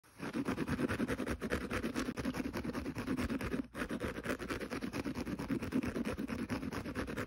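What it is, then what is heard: Kitchen scouring pad being scratched. Fingernails scratch rapidly across the rough green synthetic abrasive side of a small rectangular kitchen sponge lying scouring side up on carpet. The result is a dense, continuous scratching patter that stays mostly low-mid and dull, with little brightness. There is a brief pause just before the four-second mark.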